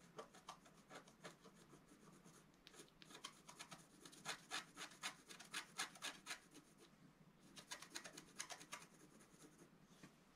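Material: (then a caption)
Waxed paper. A wooden stylus scratches fine strokes into the hair area of a flat, wax-coated scratch-art paper sheet. It makes a quick series of short, bright, raspy scrapes at a fairly steady rhythm, with a brief pause near the seven-second mark before the strokes resume.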